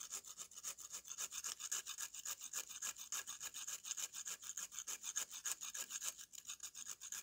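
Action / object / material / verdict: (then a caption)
scrape / mud slab scraped with a metal knife blade / dried mud / none. A metal kitchen knife blade scrapes across the powdery face of a solid, flat slab of dry, light-brown mud or clay held upright in one hand. Dozens of quick, fairly steady scraping strokes make a dry, gritty rasp that sits almost entirely in the high, bright range with no low end. Each stroke stops sharply with no ring.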